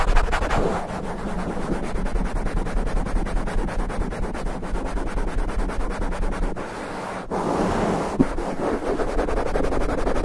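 Open palms and fingers rub and scratch fast at a black foam windscreen on a condenser mic from both sides. The result is a dense, muffled, low rumbling scrub with rapid rustling texture and little brightness. It dips briefly quieter about two-thirds of the way through before the scratching surges back.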